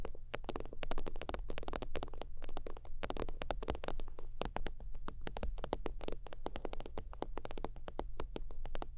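Long teal nails tap and scratch rapidly on a holographic faux-leather zip wallet lying flat. Dense, crisp clicks and short scratchy strokes run continuously over a steady low hum.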